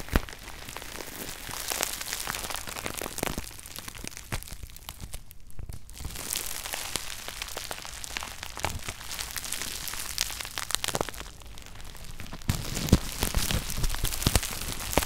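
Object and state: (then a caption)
Plastic bubble wrap being popped. Fingertips squeeze and pop bunched clear plastic bubble wrap resting on a shoebox lid. Sharp, dry pops and bright crackles come at an irregular pace over a constant crinkling rustle, with a brief quieter stretch partway through. The pops grow a little louder toward the end.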